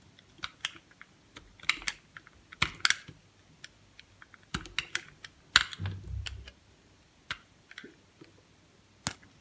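A utility knife blade shaves small flakes off a solid white stick of soap held in the fingers, using scraping cuts. Quiet, crisp, bright clicks and short scrapes come at irregular intervals, each dying away almost at once. One longer scrape near the middle carries a soft low rumble beneath it.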